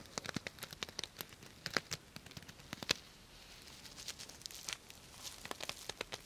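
Fingertips and long nails brush and scratch the plastic sequins of a soft, hollow purple sequin fabric cosmetic bag. The result is a quiet, bright patter of crisp clicks and scratchy crackles, with sharp ticks standing out over a soft rustling hiss and almost no low end.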